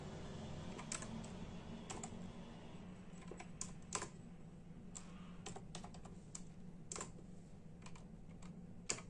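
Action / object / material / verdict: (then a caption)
tap / plastic membrane computer keyboard / plastic / none. Bare fingertips of both hands type in a steady tapping rhythm on a full-size black and silver plastic membrane keyboard with hollow keys. Quick, bright, dry clicks come in irregular bursts over a constant low hum.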